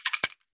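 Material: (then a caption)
Metal bead. A liquid eyeliner bottle is shaken so the small mixing bearing inside rattles, the bead being there to mix the liner before use. A few quick, bright clicks sound as the bead knocks inside the bottle, one with a slightly fuller body, each stopping almost at once.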